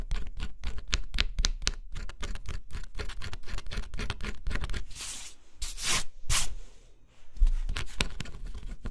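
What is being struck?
Cardboard puzzle with scratch-off coating, metal stylus.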